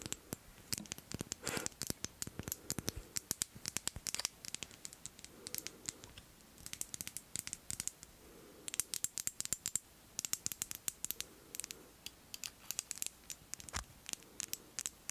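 Long nails tap and scratch a faceted glass Miss Dior perfume bottle with a bow cap, filled with pink liquid. Rapid, dry, bright clicks sound in dense bursts, with soft, low scratchy swishes between them. Each tap stops almost at once.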